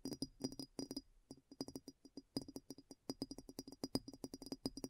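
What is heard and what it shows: Long nails tap and scratch quickly on the upturned foot of a large, clear, hollow and empty glass bowl that sits inverted. About 32 rapid, dry clicks come in irregular clusters, each with a short bright glassy tick over a low tone near 266 Hz that dies away almost at once.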